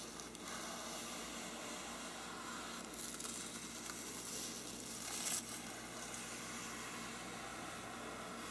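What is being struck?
Faux-parchment paper lampshade.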